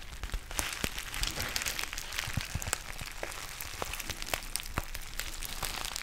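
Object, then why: Foil-lined plastic tea pouch. A black foil-lined plastic tea pouch with a white label is crinkled with the fingertips and fingernails close to the mic. It makes a steady, dense crackle full of sharp, bright snaps and clicks over a low rustle, with no ringing after each crackle.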